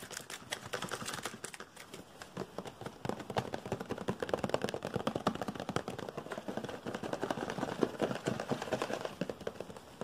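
A small, hollow, blue-and-white printed Omron cardboard product box is held and rapidly tapped and scratched with fingertips and nails. The result is a dense, continuous stream of quick, dry, hollow clicks and scraping rustles. Each tap dies away almost instantly, giving a crisp, papery texture throughout.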